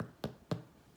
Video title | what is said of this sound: Louisa Roberts IMG 8010 | you will hear that hollow tap